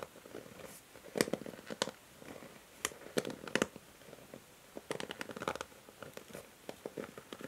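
Long nails strum and scratch the white plastic bristles of a pink plastic paddle hair brush. Quick, dry, crackly strokes come in irregular clusters with brief quiet gaps, each tick sharp and bright with almost no ring.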